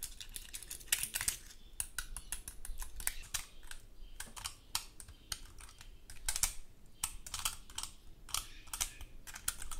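Long gold metal claw nail covers scratch and flick across the scales of a large, dry, woody pine cone. It makes a steady run of quick, dry, bright clicks and scratchy ticks in uneven bursts that stop instantly with no ring, over a faint low rumble.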